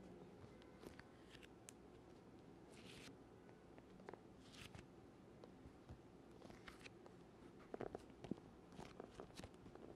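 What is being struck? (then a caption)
Leather-covered hard instrument case. Fingertips tap a black, rectangular, leather-covered hard oboe case, hollow and closed and held upright near the mic, and press and peel off its surface with sticky hands. Quiet, dull taps mix with soft, crackly, bright peeling smacks over a faint low hum. The sounds are short and dry, with no ring after each touch.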